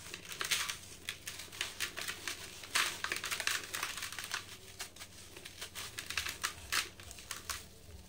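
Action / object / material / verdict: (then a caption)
scrape / sand-cement block / sand-cement / none. Hands with green painted nails crush and crumble molded dry yellow sand-cement blocks in a blue plastic bucket, breaking the solid blocks into loose powder. Dense, dry, bright crackling and crunching bursts come in quick succession with short decays. Faint gritty crumbling sounds fill the gaps between the louder breaks.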